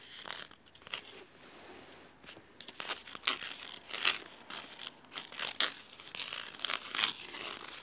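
Fingernails scratch the cloth spine corner and cover edge of a large, thick, red fabric-covered hardcover book held at an angle. The result is a run of crisp, dry, bright scratching and crinkling strokes with short bursts and little low end, heard up close in a quiet space.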